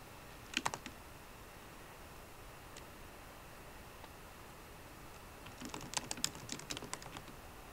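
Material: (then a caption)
Plastic. Sparse typing with long nails and fingertips on a MacBook Pro keyboard with plastic keycaps in an aluminum body. Short, bright clicking taps come in a quick cluster at the start, then a couple of isolated taps, then a denser burst near the end. A low, steady hiss sits underneath.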